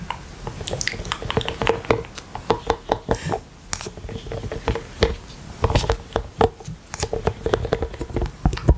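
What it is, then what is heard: Silicone collapsible water bottle. A hollow rainbow collapsible silicone water bottle with a pink plastic lid, held upright at the mic, is tapped by fingertips wearing rubber toy hands. Dozens of quick, soft, squishy taps and light rubbery pats come in uneven bursts, with a dull, low-heavy thud and almost no ring after each one.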